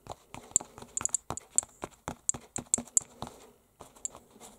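Fingertips, with rings worn, tap and scratch the textured fabric of an unfolded red canvas book cover painted with a dragon, lying flat. About a dozen short, dry taps with bright scratchy edges stand apart, with no ring after each one.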